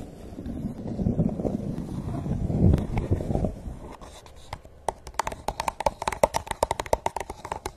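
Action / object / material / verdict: tap / hollow plastic cup / plastic / none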